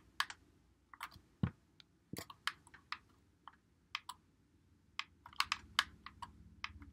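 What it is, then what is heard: Plastic game controller buttons clicking. A white Xbox One controller with a hollow plastic body is held in both hands while fingertips press and click its buttons and thumbsticks. About eighteen sharp, dry plastic clicks and taps sound at an uneven pace, with a low rumble underneath. Each click stops almost at once.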